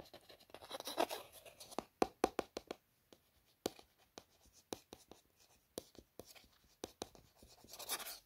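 Long nails trace and scratch the printed text and images across different faces of a hollow, printed white cardboard smartwatch box. Soft, breathy scraping swells are broken up by many short, sharp nail taps with bright edges. The sound stays quiet and dry, with each tap dying away almost at once.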